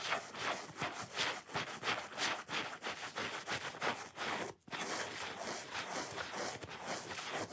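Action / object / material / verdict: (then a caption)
scrape / foam sponge / foam / none. Long fingernails scratch and rub along the top rind edge of a solid, watermelon-shaped foam sponge. The result is a fast, uneven series of dry, bright scraping strokes with little low end, broken by one brief silence partway through.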